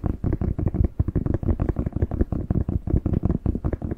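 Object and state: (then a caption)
Bell pepper. A whole, fresh, hollow, hand-sized red bell pepper is held in both hands while fingertips tap and scratch its skin close to the mic. Rapid, irregular taps produce soft, dull, hollow thumps that are mostly deep and low with almost no bright content, each dying away almost instantly, with a faint scratchy rustle between them.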